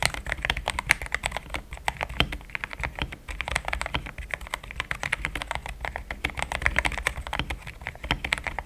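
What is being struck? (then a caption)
Mechanical keyboard with plastic keycaps. A pink-framed compact mechanical keyboard with thick cream XDA plastic keycaps, a polycarbonate plate, linear switches and a hollow case is typed on with fingertips in steady taps. The result is a rapid, even stream of short, crisp clacks that die away almost instantly, with a bright top and a soft low body under each stroke.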